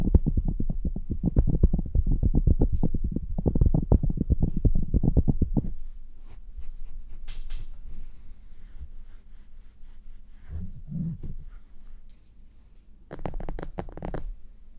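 Hands squeeze and rub red synthetic-fur earmuffs on a mannequin head, making dense, muffled low thumping and rustling for about six seconds. Quieter faint scratching and soft shuffles follow, with a brief brighter rustle near the end.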